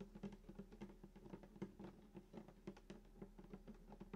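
Fingertips tap on the wooden top around the bridge of a hollow sunburst acoustic guitar lying flat. A quick, uneven series of soft, hollow knocks follows, each with a low woody resonance around 195 Hz that dies away almost at once.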